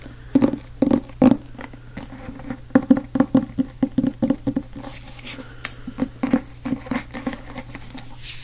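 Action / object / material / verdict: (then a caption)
tap / cloth or board hardcover book / cardboard / none. Fingertips tap the cover of a solid, medium-sized black cloth or board hardcover book held up in both hands. The taps are quick, dry and short, with a muffled thud around 250 Hz that dies almost instantly. They come in uneven bursts, louder at first and then lighter and more scattered.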